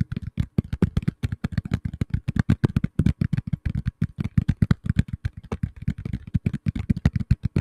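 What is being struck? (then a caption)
Tablet in a plastic case. Fingertips tap rapidly and steadily on the back of a black tablet in a plastic case, producing about fifty quick, dull, low knocks over several seconds. Each tap is a soft, muffled thud with a faint clicky edge and no ring, stopping almost instantly.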